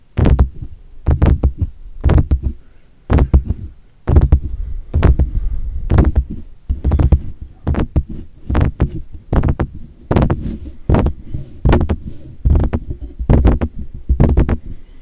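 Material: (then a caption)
Metal. Short fingertips tap and scratch the mesh grille and hollow cylindrical body of a silver metal desktop USB microphone, Blue Yeti style, on its stand. Soft, dull, low thumps come in quick irregular clusters, each hit dying away almost instantly, with a faint scratchy edge.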